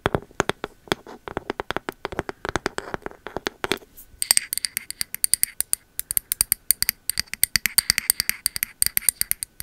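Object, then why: Ceramic candle jar with bamboo lid. Long metal nail caps tap rapidly on a pink ceramic candle vessel, striking both its body and its bamboo lid. The taps are short, dry clicks; the first few seconds are fuller and lower, then the clicks turn brighter and sharper with crisp high ticks.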